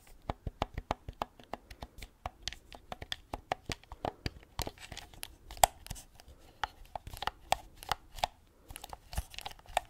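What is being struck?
Hard-plastic game controller.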